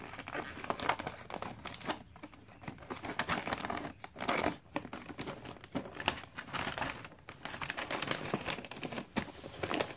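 Fingertips with long dark nails rub and tap the flat side of a gift box wrapped in glossy red Christmas paper. The result is a steady stream of crinkly, scratchy rustling broken by quick bright taps and brief quiet gaps.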